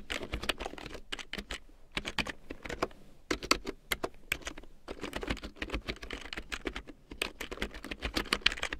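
A full-size large print keyboard with a black plastic frame and big yellow plastic keycaps, lying on faux fur, is typed on with long painted nails and fingertips. Quick bursts of bright, clicky plastic taps come in uneven runs with short pauses, each tap dying away almost instantly.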